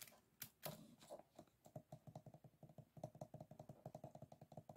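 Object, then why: Closed bamboo and paper folding fan. A small, closed bamboo folding fan, its stacked bamboo ribs and folded paper forming a solid stack, lies flat on a wooden table while fingertips and short nails tap and scratch along the rib edges. A few bright scratchy strokes open the clip, then a quick run of about thirty short, dry, woody taps clicks with a low hollow body and a mid-range knock. Each tap dies away almost at once, like soft typing.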